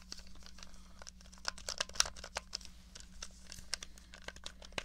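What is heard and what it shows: Long nails tap and scratch the case and buttons of a small, hollow, grey plastic NES controller held upright. The result is a quiet stream of quick, bright plastic clicks and dry scratching with a crinkly texture, over a steady low hum.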